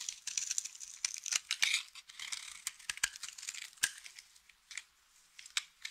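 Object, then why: Bar of soap cut with a blade. A utility knife blade slices flakes and shards off a solid, dry blue soap bar. The result is a rapid series of crisp, crunchy crackles and sharp snaps, bright and high with almost no low end, rising and falling in bursts before thinning out into scattered clicks.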